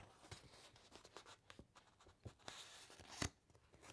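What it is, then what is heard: Paper encyclopaedia pages. Long acrylic nails and fingertips rub and scratch across the thick uncoated paper pages of a large open hardcover encyclopaedia, then turn a page. Quiet, dry scratches and brushing strokes come in short bursts. Near the end, a louder, sharp rustle of the page turn spreads from low to bright.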